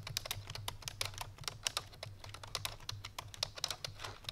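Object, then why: Plastic computer keyboard. Fingertips with painted nails on both hands type quickly on a full-size black plastic computer keyboard resting on a white fur rug. A rapid, uneven run of short, bright, clicky keystrokes sounds over a faint, steady low hum, and each key snaps off almost instantly.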